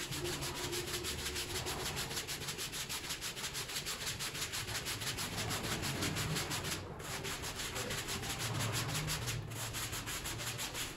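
A green push broom's stiff plastic bristles scrub a small, flat, rectangular brown synthetic fabric door mat, wet and soapy, lying on a plastic-covered floor, in repeated back-and-forth strokes. The result is a steady, rhythmic, scratchy rubbing with a bright, hissy wet texture that continues throughout, with a couple of brief dips in the scrubbing.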